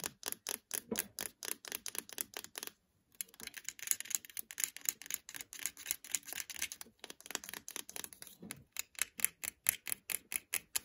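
Fingertips and nails tap and scratch the casing of a small, solid, black plastic Acer laptop power brick with a label, held in the hand. Dozens of quick, dry, bright clicks come in rapid runs, with a short silence near three seconds and another brief pause near seven seconds. The taps have almost no low end and die away instantly.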